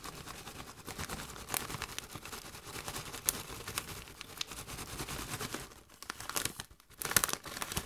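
A partly full Doritos metallized plastic chip bag is held up in the hands while fingers and long nails crinkle and squeeze it. The result is a steady, bright crinkling rustle with sharp crackling spikes and a brief quieter dip near the end.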